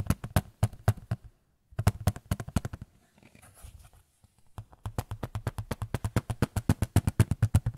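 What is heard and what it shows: A small white photo frame is tapped in quick bursts of short, dry, low-pitched knocks with almost no ring. The tapping pauses briefly with a faint soft rustle, then resumes in a steady, rapid run of dozens more taps.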